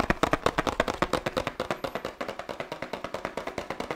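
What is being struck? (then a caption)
Laminated paperboard drink carton. A 1 L laminated paperboard oat milk carton is tapped rhythmically with the fingertips on its sides and bottom, giving about 34 quick, dry, hollow taps over four seconds. Each tap is short and woody-sounding with almost no ring, and the pace stays fast and uneven throughout.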